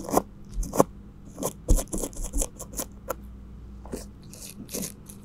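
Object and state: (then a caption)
Cling film over a microphone, brushed. A flat paintbrush held in a gloved hand sweeps and rubs across the top and sides of an upright cylindrical microphone tightly wrapped in clear plastic cling film. The result is irregular crinkly, scratchy brushing strokes with bright hissy edges and soft low thumps, over a steady low hum between strokes.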